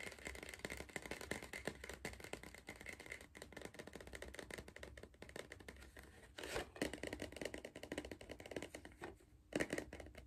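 Fingertips and nails tap the side wall of a hollow Pringles cardboard crisp tube held in the hand. The result is a quiet, continuous stream of rapid, dry, hollow taps and light scratchy clicks that die away almost instantly. A few slightly louder bursts of tapping come near the middle and toward the end.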